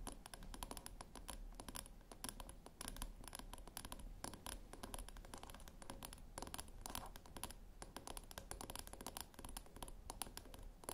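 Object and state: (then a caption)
Metal tin scratched with nails. Long fingernail tips scratch and click along the top rim edge of a small round silver metal tin. The result is a steady 11-second stream of quiet, dry scratching laced with rapid, bright clicks over a low, soft rumble.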